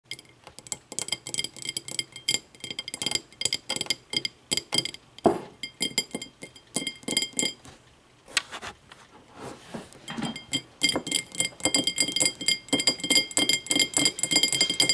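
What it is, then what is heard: Empty glass tumbler. An empty, clear, thick-bottomed glass tumbler stands upright on a wooden table and is tapped on both sides with long matte navy nails. The result is a fast, irregular run of bright glassy clinks with short rings and a brief pause near the middle.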